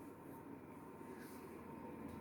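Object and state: Nothing is struck.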